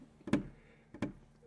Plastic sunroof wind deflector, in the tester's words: you can hear me flicking it if there's some bass you can hear you can feel it